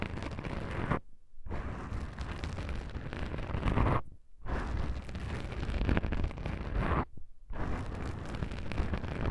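Long pink nails scratch the surface of black foam microphone windscreens with both hands, making a dense, rumbling, crackly scratching dominated by deep low-end thumps. The scratching runs almost continuously, broken by three brief quiet gaps before resuming.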